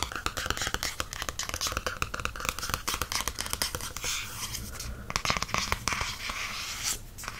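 Fingertips tap and scratch the glossy cardstock back cover of a softcover paperback book held in the hand. A dense run of quick, dry taps blends with bright, papery scratching, which turns to steadier rasping strokes in the second half. Each tap dies away almost at once.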